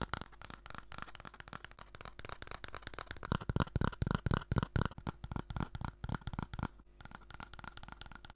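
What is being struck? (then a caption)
Cardboard toilet roll tube. Long manicured nails tap and scratch an empty, hollow brown cardboard toilet roll tube about 10 cm long, held upright in one hand. The result is a rapid, uneven patter of short, dry clicks and scraping with a low, hollow body, growing louder in the middle. A brief pause comes near the end before softer tapping resumes.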